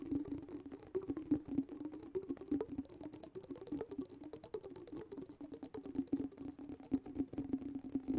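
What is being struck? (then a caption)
Small glass jar of water. A small, round, clear glass jar filled with water and glitter is held in one hand while the fingertips and nails of the other hand tap its sides and top. The result is a steady stream of quick, irregular, soft taps with a short, low glassy ring that dies away almost at once.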